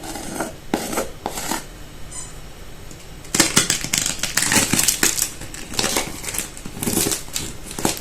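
A golden cheese pie with a homemade phyllo crust, just out of the oven after an hour at 200 °C, has its crust tapped and rubbed. This gives dry, crackly rasping bursts that are bright and brief, with quieter taps at first and then denser, louder crackling. The crust sounds very crisp.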